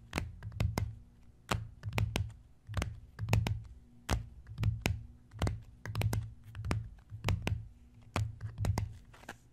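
Fingertips and short nails of both hands tap and scratch a closed notebook with a brown, floral-embossed leather-look cover lying flat on a wooden chest. Soft, muffled low thuds come in loose clusters, each topped by crisp, bright nail clicks and faint scratching. The sounds die away almost instantly, in an uneven rhythm.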